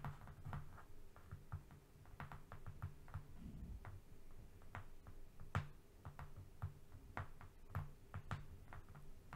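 A long, thin, flat strip of brown corrugated cardboard, not a box, lies on a fluffy rug and is tapped and scratched with the fingernails of both hands. Quick, dry, irregular taps and scratchy clicks sound over a quiet, steady low hum. Each tap fades almost instantly.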